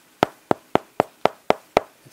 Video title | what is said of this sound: How to Modify Klipsch speaker horns for better sound. | it's pretty dead sounding which is good